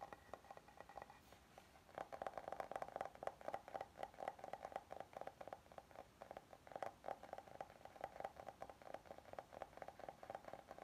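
A flat oval solid wooden serving board with oak grain is held in both hands while fingertips and nails tap and scratch its face and edges. Quiet, rapid, dry knocks with a hollow woody tone around 660 Hz ring out briefly, mixed with soft scratching. The pattern starts sparse and becomes a denser, steady flurry of taps after about two seconds.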